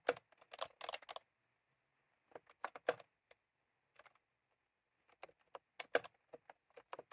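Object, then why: Plastic round-key keyboard. Fingertips type on a white/cream plastic retro keyboard with round keycaps, with a small clip microphone lying on the keys untouched. Quick, dry plastic clicks come in three bursts separated by pauses, centered in the midrange with little bright or low content and almost no ring.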